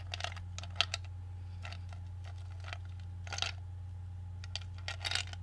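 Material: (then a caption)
Ice, glass. Fingertips stir a clear glass bowl full of ice cubes, so the cubes clink against each other and against the glass. Short, bright clinks come in scattered bursts over a steady low hum. Each clink dies away almost instantly.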